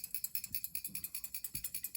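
A whole liquid-fuel metal camping stove is shaken so the small built-in metal needle in its fuel jet rattles, clearing carbon built up at the jet when the stove won't stay lit or won't make a blue flame. About 20 quick, evenly spaced, bright metallic clicks sound over two seconds, each short and sharp with little low end.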